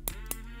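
Two light taps on the metal bezel ring of a Haylou RS3 (LS04) smartwatch give short, bright clicks that die away almost at once over a steady low hum. The bezel is confirmed to be metal.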